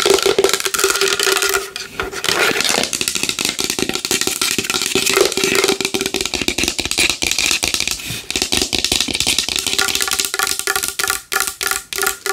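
A large wooden bowl is tapped fast and hard with long nails, giving a dense, continuous run of bright, clicky taps. A woody tone near 390 Hz rings faintly under the taps and dies away quickly. The rhythm breaks up into sparser bursts toward the end.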